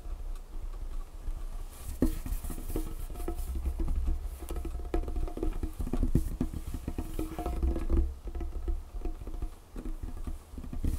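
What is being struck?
Wooden tabletop.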